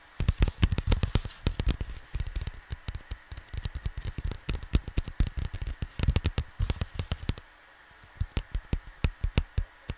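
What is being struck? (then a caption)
Cardboard vinyl record sleeve. Fingertips and short nails tap and scratch the lower part of a flat cardboard vinyl LP sleeve in quick, dry, irregular bursts. The hollow taps are soft and low, with brief bright scratchy edges and almost no ring. A pause near the end is followed by a few sparser taps over a faint steady hum.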